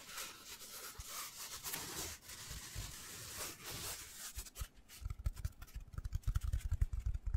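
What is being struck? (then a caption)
Foam cylinder. Fingertips rub and scratch a hand-sized black foam cylinder held in both hands. For the first four seconds there is a soft, airy hiss that swells and fades. It then turns into quick, uneven, muffled low thumps and scratches that grow louder toward the end.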